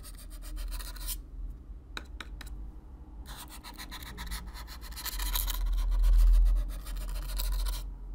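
A stiff black-bristle brush is brushed across the surface of a hollow brown corrugated cardboard box up close. The result is dry, bristly scratching in quick repeated strokes with a low rumbling body. A few sharp ticks sound during a brief pause before the brushing resumes and grows louder.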